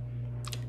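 A new FAA Remote Pilot Certificate card, made of easily bendable plastic, is tapped or clicked. It gives a brief, light plastic click over a steady low hum. The card sounds like ordinary plastic.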